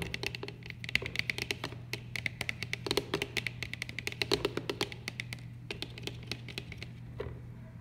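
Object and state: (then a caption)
Plastic pump bottle. Fingertips and nails tap on a large, hollow, clear plastic bottle with a white plastic pump top, striking both the pump head and the bottle body; its contents are not clearly visible. The result is a quick, irregular run of short, dry clicks with bright tops and a hollow knock in the lower mids. The taps stop almost instantly, over a steady low hum.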